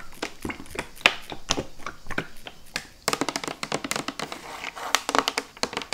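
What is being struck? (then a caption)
Plastic squeeze bottle of dish gel. A medium red and white Pril Duo Gel dishwasher gel bottle, hollow plastic and apparently filled with gel, is held in one hand and tapped on its plastic body with long manicured nails. Rapid, bright, clicky taps come in irregular bursts, each dying away almost instantly, with a denser flurry in the second half.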